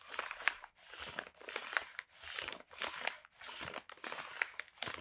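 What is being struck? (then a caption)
Kraft paper parcel wrapping. A brown kraft paper wrapped parcel is held in both hands and crinkled, with the fingertips squeezing and scratching the paper. Dry, bright crinkling comes in a series of short bursts separated by brief pauses, with occasional sharper crackles and almost no low end.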